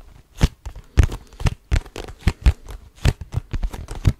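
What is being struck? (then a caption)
Cardboard tissue box. Fingertips grip and scratch the sides of a cardboard tissue box with tissues showing, close to the mic. An uneven series of short, dry scratching and crinkling bursts, each with a heavy low thump, stops almost instantly with no ring.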